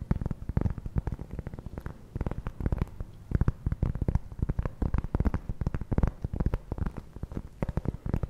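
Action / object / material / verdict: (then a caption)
scrape / round cork trivet / cork / none. A flat, solid, round cork trivet is scratched with fingertips and nails. The result is a dense run of quick, dry scratches and soft taps, dull and low with almost no ring, irregular in loudness throughout.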